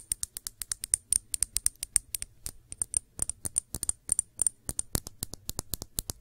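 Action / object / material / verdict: tap / small glass shot glass / glass / none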